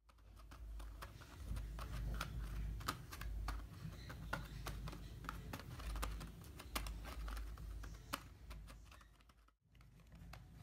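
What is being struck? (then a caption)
Small printed cardboard box holding plastic paint pots. Fingertips and short nails tap quickly and scratch on a small, closed, printed cardboard box of tempera paint holding plastic paint pots, and then the box is turned over in the hand. The sound is a fast, uneven stream of short, dry clicks and brushing scratches over a steady low rumble. It falls briefly silent near the end before the soft handling resumes.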